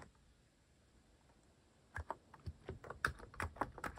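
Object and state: Mechanical keyboard with plastic keycaps being typed on.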